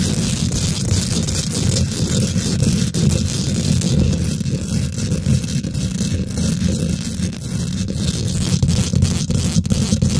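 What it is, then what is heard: Metal mesh microphone grille. Long nails and fingertips on both hands quickly scratch and tap the domed, hollow woven metal mesh grille of a large silver condenser microphone. The result is a steady, dense, low rumbling scrape with rapid short ticks and faint high crackle over it, holding an even level throughout.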